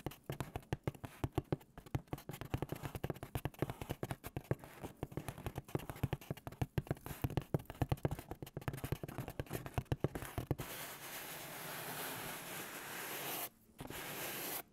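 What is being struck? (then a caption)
Cardboard pizza box. Fingertips and nails rapidly tap and scratch the surface of a large white cardboard pizza box held diagonally, producing a dense run of short, hollow, low thumps with quick scratchy edges. After about ten seconds the tapping gives way to a steady, brighter rubbing hiss that briefly cuts out once before resuming.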